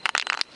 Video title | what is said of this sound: Hobby in a Box - Episode 6 - Spray Paint this Valentine ! ! ! | shake it and check. You can hear this voice. If you hear this voice, then buy it. If not, don't buy it.